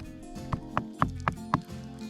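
An earthen termite mound in the Australian outback is knocked on five times, each knock a short, dull, hollow thud with a low resonance. A steady low hum runs underneath, and the knocks reveal that the mound sounds hollow.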